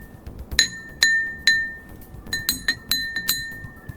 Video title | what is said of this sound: Learn about sound with Curiosity Club! | what each glass sounds like when we tap it without any water in it